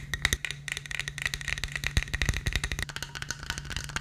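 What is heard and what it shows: Fingertips and nails rapidly tap and scratch the studded sides and lid of a black studded plastic tumbler with a lid and straw. The result is a steady stream of short, dry, clicky taps with a bright ring near 2 kHz over a faint, constant low hum, lasting about four seconds.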